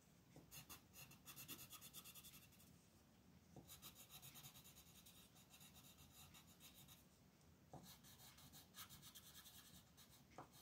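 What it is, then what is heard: Colored pencil on paper. A light-orange wooden colored pencil rubs back and forth across a flat printed paper coloring sheet on a desk to fill small areas, while the other hand holds the sheet. Quiet, bright, scratchy strokes come in quick rhythmic bursts, with brief lulls around 3 and 7.5 seconds.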